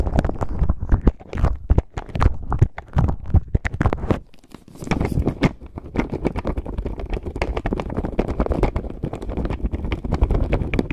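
A clear plastic zip bag full of plastic faux pearl beads is pinched, squeezed and rubbed with the fingertips, so the beads rattle against each other and the bag crinkles. The sound is a dense run of short, dry clicks and crackles over a soft low rumble, dipping quieter briefly around the middle before the steady rattling resumes.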